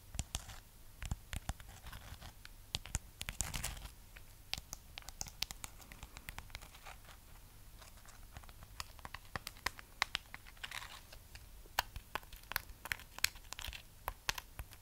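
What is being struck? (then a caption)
Wax-coated amaryllis bulb. Long nails scratch and tap the wax shell of a red wax-sealed amaryllis bulb on a wire stand, held close to the mic. Quiet, dry scratching is broken by many sharp, bright clicks that stop instantly with no ring, over a faint low rumble.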